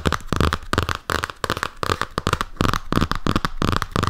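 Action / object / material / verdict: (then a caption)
tap / hardcover comic album with glossy cardboard cover / cardboard / none. Fingertips and nails tap and scratch the glossy printed cardboard cover of a large hardcover "Jim Hawkins" comic album, made of paper and board, held close to the microphone. Rapid, irregular bursts of crisp crackling scratches and dull low thumps come in quick clusters, with short gaps between them.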